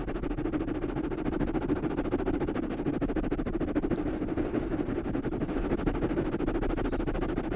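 Fingertips and short nails rapidly scratch two black foam windscreens on microphones mounted on stands. The result is a dense, continuous, muffled rustling and scraping, centered in the low-mids around 300 Hz with little high content, holding a steady level throughout.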